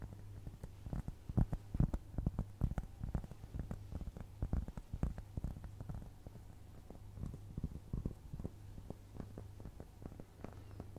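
Long nails scratch and tap a solid, round, flat cork trivet the size of a dinner plate, held up close to the microphone. Soft, dull taps and scratchy brushes come in an uneven patter, each dying away almost at once, over a steady low hum. The overall sound is quiet, muffled and bass-heavy, with almost nothing in the high range.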